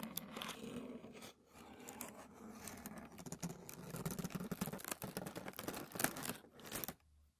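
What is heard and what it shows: Bare fingertips rub, press and crinkle a large, very thin white tissue paper sheet, the already-crinkled wrapping paper from a shoe box, lying flat on a light wooden table. A dense, continuous papery rustle is broken by sharp, bright crackles, with a brief dip near 1.3 seconds. The crinkling stops just before the end, leaving near silence.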